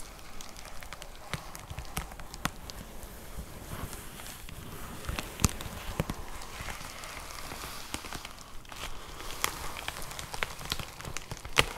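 Long nails tap and scratch across a white plastic poly mailer envelope with a box inside. There is a steady soft crinkling rustle over low thumps, broken by many quick, bright taps. The taps die away at once.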